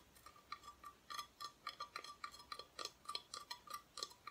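Long nails tap and scratch on the bare, unfinished wooden back of a flat, solid Christmas decoration cutout held close. About twenty quiet, dry, bright clicks fall at an uneven pace, each dying out almost at once, with faint scratchy rustle between them.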